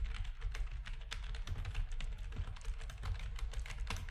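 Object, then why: Plastic computer keyboard. Rapid typing with the fingertips of both hands on a full-size black plastic backlit RGB gaming keyboard with a hollow housing. The key presses come as a dense, steady stream of short clacks, each with a bright click over a deep, hollow low thump and almost no ring.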